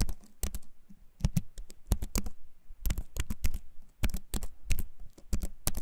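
A compact keyboard with a wooden frame and plastic keys, held up close to the microphone, is typed on with fingertips. Quick, clicky keycap taps come in uneven bursts, each short and dry with a low thump under a bright click.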